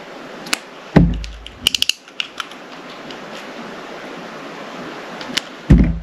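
A solid, palm-sized, translucent purple glycerin soap bar held in the hand is shaved into thin slices with a metal utility knife blade, cutting and scraping rather than tapping, while other soaps sit idle nearby. Crisp, bright clicks and short scraping ticks come in quick clusters over a soft hiss, broken by two heavier, low, dull thuds.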